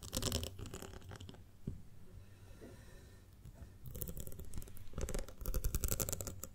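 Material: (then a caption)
Glass. Long nails tap rapidly on the side of a ribbed glass jar full of honey, making crisp, scratchy clicks over a dull low thud. The tapping briefly eases to softer, sparse contact, then both hands cup the jar and tap around it in dense, uneven bursts that grow louder toward the end.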